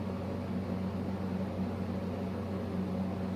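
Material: Nothing is struck.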